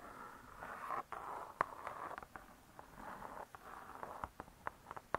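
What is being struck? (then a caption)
Cardboard-covered spiral-bound book. Long nails scratch and tap the cardboard cover of a spiral-bound hardcover cookbook. A soft, steady scratching centered near 1 kHz is punctuated by thirteen short, dry taps that die away almost instantly. The sound stays quiet, with little low end and only faint high brightness.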